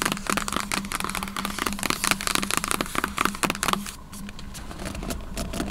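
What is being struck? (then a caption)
Cardboard box lid tapped with fingernails. Long nails tap and scratch the lid of a large, hollow white cardboard MacBook box, making a fast run of crisp clicks and dry scraping with a steady low hum underneath. Near the end the tapping stops and only soft rustling remains as the box is held with both hands.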